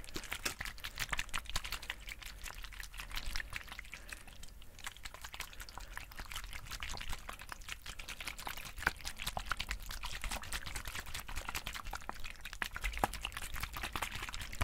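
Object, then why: Plastic squeeze water bottle. Long-nailed fingers tap and squeeze a hollow white plastic sports squeeze bottle with an orange cap, held in the hands close to the mic. The result is a steady stream of quick, quiet, crisp clicks and crinkly plastic squeezes over a low hum.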